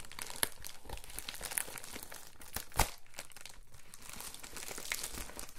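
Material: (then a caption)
Plastic. A letter-size padded Amazon Prime poly bubble mailer is lifted and flexed in both hands, then rubbed and pressed flat with palms and fingertips. This produces continuous bright crinkling and crackling over a low handling rumble. A few sharper snaps stand out, the loudest near the middle.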